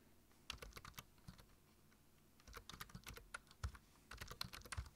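Fingertips type on a black plastic low-profile computer keyboard, giving quick bright key clicks with low thumps under them. The clicks come in bursts with short pauses between.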